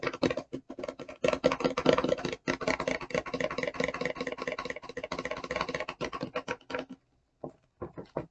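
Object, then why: Clear rigid plastic packaging box. Long fingernails rapidly tap and scratch the clear, rigid plastic front of the boxed packaging of an e.l.f. brush and sponge set held up in the air. The result is a dense, crisp patter of bright clicks and scrapes with a hollow plastic tone. It pauses briefly near the end before a few final taps.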